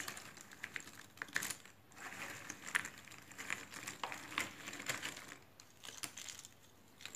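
A heap of small loose cardboard jigsaw puzzle pieces in a shallow cardboard box lid is stirred, scooped and sifted by both hands' fingertips and medium-length red-painted nails. This gives a soft, continuous, bright rustling dotted with quick, dry clicks that stop almost at once, with a few louder clicks standing out from the steady shuffle.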